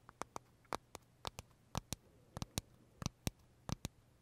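Fingernails tap and scratch the crisp shell of a large pale green pistachio macaron with filling, held in the hands. About fifteen short, sharp, bright clicks come at an uneven pace, each dying away almost at once, over a faint steady low hum.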